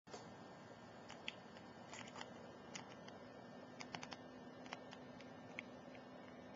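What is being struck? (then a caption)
Glass perfume bottle. Very long, pointed, glittery nails tap and scratch along the body of an Ajmal Shadow cylindrical glass perfume bottle, full of amber liquid, with a metal cap and collar, lying on its side on a laptop keyboard. Quiet, scattered sharp bright clicks and light scratching sound over a steady soft hiss.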